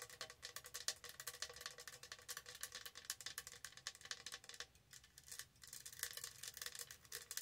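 Long acrylic nails from both hands scratch and tap a tall, hollow lilac plastic tumbler with a textured, studded surface. The result is a rapid, steady stream of crisp, bright clicks and scratches with almost no low end, easing briefly around the five-second mark before picking back up.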